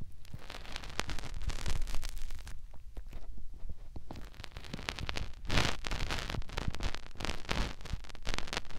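Fingertips rub and poke into the ear canal of a white silicone ear mounted on a white plastic binaural microphone housing. The result is close, dense crackling and scratchy rustling over a heavy low rumble, with brief bright crackle bursts throughout and a softer stretch in the middle before the scraping builds again.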